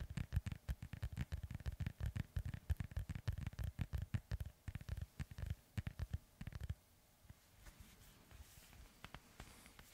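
Fingertips and nails scratch the surface of a hollow, inflated synthetic leather soccer ball held steady, making quick, irregular low, dull thumping scratches with no ring. After about six and a half seconds the strokes drop to a faint, sparse rustle.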